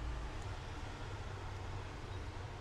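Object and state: Nothing is struck.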